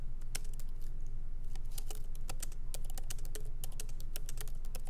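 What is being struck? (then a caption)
Laptop keyboard, plastic keys. Both hands type continuously with the fingertips on a MacBook Pro keyboard, whose low-profile plastic keys sit in a solid aluminum body. Quick, unevenly spaced bright clicks tap out over a steady low hum, with each keystroke fading fast.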